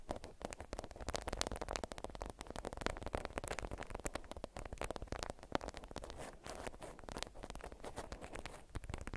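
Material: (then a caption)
Waxed cotton. Long white acrylic nails squeeze, crinkle and scratch a watermelon-print beeswax-coated cotton food wrap folded around a small bundle held in both hands. The result is a dense, continuous run of dry, stiff crackles and scratchy crinkles with short sharp transients and a low, muffled handling thump underneath. It stays busy throughout, with a brief lull around the middle.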